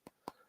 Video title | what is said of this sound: WeirDopes Podcast Happy Hour Halloween Special!! | It's really hard, heavy plastic.